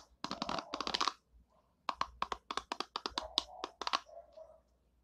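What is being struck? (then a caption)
Plastic hairbrush bristles. A long nail flicks and scratches the white pin bristles of an oval orange and purple plastic hairbrush. It makes rapid, dry, bright plastic ticks that stop almost instantly, first in a dense cluster and then, after a brief pause with faint scratching, in a longer run of crisp, evenly spaced flicks. Softer scraping fades out at the end.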